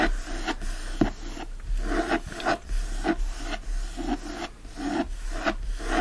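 Fingertips and short nails scratch a closed teal cloth hardcover book with gold foil lying on a fleece blanket, and both flat hands rub its cover; a ring is on one finger. Rhythmic rasping, rubbing strokes swell and fade one after another, a soft, dry, low-to-mid scratching with little high brightness and no ring-out.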